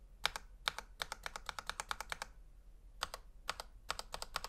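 A gloved fingertip taps and presses single keys on a full-size black plastic Razer Huntsman V2 Analog mechanical gaming keyboard, with a hollow housing and switches, lying flat on a white table. About 26 short, sharp, bright clicks come in quick bursts with a pause in the middle, each dying out almost at once and centred around 1.4 kHz, with little low end.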